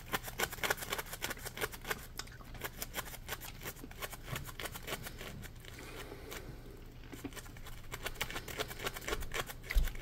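Fingertips and nails scratch the surface of a solid, palm-sized yellow polymer foam Scrub Daddy sponge. It makes a steady run of quick, dry, crackly scrapes with bright, short bursts over a constant low hum. The scratching is denser at the start and end and thins out in the middle.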